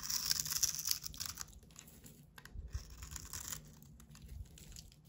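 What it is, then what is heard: Bar of soap scraped into shavings. A snap-off utility knife blade scrapes the face of a solid, hand-sized soap bar with a blue painted coating, held in the palm, into crumbly shavings. The bright, dry, crinkly scraping is loudest in the first second and a half, then continues as softer, uneven scratches with a faint low rumble underneath.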